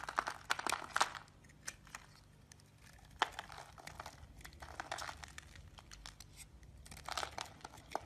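A solid light green bar of soap held in the palm is scraped and chipped with a utility knife, making crumbly shavings. Quiet, dry, crisp scraping and crackly crunches come in irregular bursts, with sharp little clicks and bright, high rasping between softer pauses.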